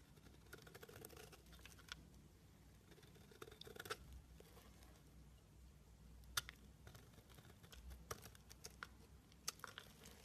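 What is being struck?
Bar of soap scraped with a knife blade.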